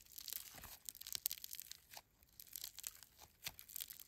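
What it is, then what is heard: Bead-filled foam slime. A handful of silver-grey foam slime filled with polystyrene beads is pulled and stretched into strands, then squished and kneaded between fingertips and thumbs. It makes quiet, dense, bright crunchy crackling and tearing sounds with almost no low end. There is a brief lull near the middle before the crackling picks up again.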